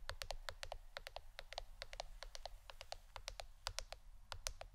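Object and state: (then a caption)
Plastic board, tapped with fingernails. Fingernails tap a plastic board shaped like a shirt in quick, irregular runs. The taps are sharp, bright clicks that stop almost at once. A steady low hum sits underneath.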